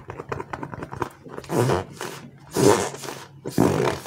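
Bare fingers and thumbs squeeze and rub a palm-sized green and white slow-rise polyurethane foam frog squishy toy made of solid foam. A first second of quick, soft ticking and crackling gives way to three louder, broad, hissing squish-and-rub swells.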